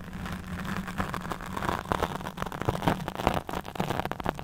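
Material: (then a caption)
Foam. A black foam windscreen on a handheld microphone is scratched with long fingernails, producing a dense run of close, crackling scrapes over a steady low hum. The strokes are quick and uneven, with brief louder rasps rising out of the continuous rustle.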